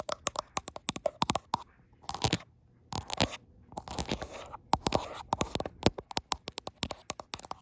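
Long almond-shaped acrylic nails tap and scratch the frosted glass back of a gold iPhone Pro, with the phone itself picking up the sound close-up. Rapid, sharp clicking taps with bright, crisp attacks and almost no ring are interrupted by short bursts of gritty scratching and scraping across the glass.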